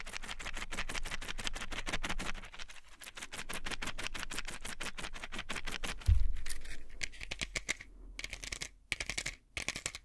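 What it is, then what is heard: Plastic and foil pill blister pack. A plastic and foil pill blister pack held in one hand as fingernails tap and scratch its plastic bubbles and foil side. Rapid, closely spaced crisp clicks run through the first half, then a low thump is followed by sparser taps and bright scratchy scrapes.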